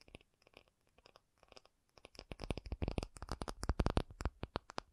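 An acrylic object is tapped, starting with sparse, quiet taps for about two seconds before turning into a louder, faster run of tapping. Each tap is short and dry with almost no ring, and its energy sits mostly in a low thump with only faint brightness on top.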